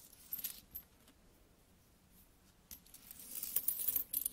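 Small solid metal coins are dropped one by one onto an open palm, clinking together in quiet, bright, short metallic chinks. A brief burst comes early, then a lull, then a denser run of jingling clinks toward the end.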